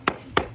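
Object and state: Hollow, debonded cement render.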